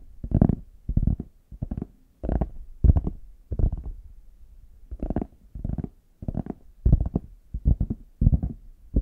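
Fingertips and nails tap the smooth back of a small, hollow, brown faux leather hard shell case held in both hands. The taps come in quick clustered bursts with short pauses between them. Each tap is a dull, hollow, low thump that dies away almost at once.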